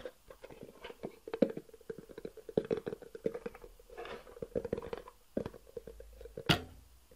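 A long, hollow black cardboard box with white edges is held horizontally and tapped and scratched with the fingertips. Quick, soft, hollow taps with a faint boxy tone mix with dry scratching rustles, ending in one sharper, louder tap near the end.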